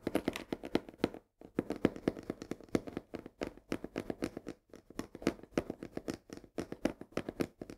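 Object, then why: Cardboard box of coarse salt. Long fingernails tap and scratch rapidly along the edge and side of a full 1 kg cardboard box of coarse salt held tilted. The result is a dense run of dry, short, clicky taps with a papery midrange body and almost no ring, with a brief pause just after the first second.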